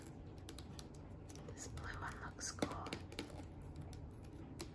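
A small blue hollow plastic slime tub with a lid is held and turned in the hands while long fingernails tap and scratch its sides and lid. Quiet, irregular clicks and brief scratchy rustles sit over a low, steady rumble, with one sharper tap standing out near the middle. Each tap dies away almost at once.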